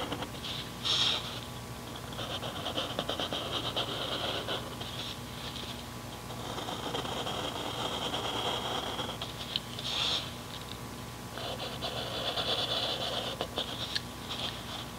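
A mechanical pencil tip scratches short strokes across a thin grid page of an open paper notebook lying flat on a desk, backed by more pages, while the other hand holds the page. Dry, bright scratching comes in uneven bursts of sketching, some brief and sharp, others longer and steadier. A faint, steady low hum sits underneath throughout.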